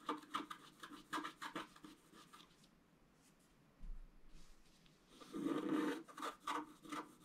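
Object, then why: Coated scratch-art paper card scratched with a wooden stylus. A wooden stylus scratches repeated strokes into the basin area of a black-coated scratch-art card while fingers hold the card's edge. Quick, dry rasping strokes come in a loose rhythm, fall into a near-quiet stretch, then return with a louder, denser scratch before more short strokes.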